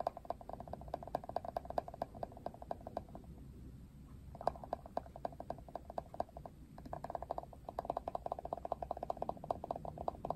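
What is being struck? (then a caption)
Plastic detangling hairbrush. Fingertips and nails strum and flick the thin plastic bristles of a hand-sized plastic Wet Brush detangling paddle hairbrush with a silver handle, pink rim and black cushion. The result is rapid, dense runs of quiet, dry plastic ticks and flutters with a slight mid-pitched ring. They pause briefly twice before picking back up.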